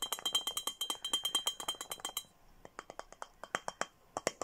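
Fingernails tap and handle a clear glass Hello Kitty milk-style bottle with a red plastic lid and straw, hollow with a few small items inside. Bright, short clinks come in a fast, dense run for about two seconds, with a thin steady high tone underneath. After a brief near-quiet pause, slower, scattered taps follow.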